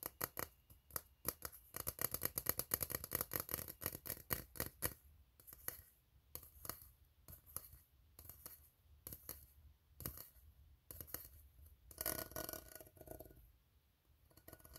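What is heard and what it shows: Fingernails scratch and fingertips tap the ribbed side of an empty, open, hollow steel tin can. A fast run of dry, bright clicks and scrapes fills the first five seconds, then sparser taps and scratches follow with a short rasping burst near the end. Each tap dies away almost instantly, with no lasting ring.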